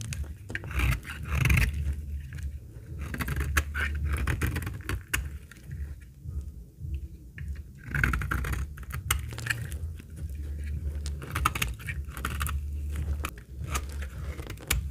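A steel snap-off blade scrapes and cuts flakes from a very old, solid, translucent amber bar of dry laundry soap held in the fingers. Rapid, dry, crackly scraping and cutting strokes repeat throughout over a steady low rumble, with brief bright clicks as flakes break away.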